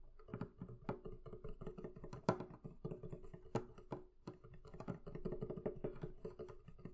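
One hand taps the wooden lid of a hollow, closed, barrel-shaped wooden chest near its right end with long nails. The result is a rapid, uneven run of short, hollow wooden clicks and knocks with a low, woody body and a faint steady tone beneath. A few taps stand out louder, and each dies away almost at once.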